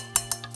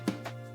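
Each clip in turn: First: Two bright, crisp fingernail taps, then two fainter ones, with a tinny metallic edge on a thin reflector. Second: Two quick, dull taps with almost no ring: a light reflector that sounds like plastic.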